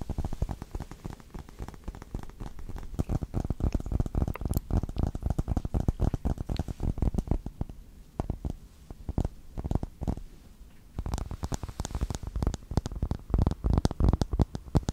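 Fingertips and short nails rapidly tap and scratch a thin, hand-sized smartphone in a dark hard plastic case, including its back, held close to the microphone. The sound is a dense stream of dull, bassy taps and soft scratches that thins out briefly in the middle before picking up again.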